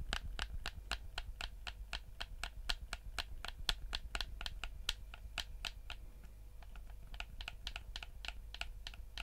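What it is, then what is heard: Plastic game controller. A black, hand-sized PS4-style plastic gamepad with a hollow shell is held in both hands while the thumbs click the face buttons and the fingertips tap the plastic. The result is a quick, somewhat uneven run of sharp, bright clicks that stop almost instantly, over a steady low hum. There is a brief lull around the six-second mark before the clicking picks up again.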